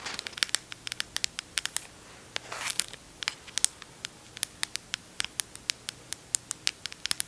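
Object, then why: Plastic squeeze tube. Long acrylic nails scratch and tap a small green squeezable plastic tube of O'Keeffe's Working Hands hand cream that appears full. Dozens of sharp, bright, dry clicks sound with no ring, broken up by a brief raspy scratching stretch near the middle.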